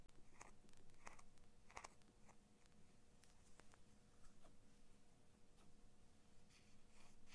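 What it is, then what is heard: Plastic-handled metal scissors. Long nails scratch along the metal blade of small scissors with orange and blue plastic handles, held in both hands, and the blades are opened partway through. The result is a quiet run of crisp, bright scratches and light clicks over a steady low hum.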